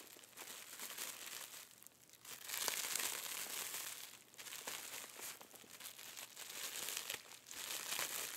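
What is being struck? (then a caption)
Clear plastic cellophane wrap. White-gloved fingers squeeze, crinkle and pull open the clear, crinkly plastic cellophane wrapped around a small lump. The result is a steady stream of bright, crackling crinkles with sharp snaps, swelling louder and softer in waves, with almost no low end.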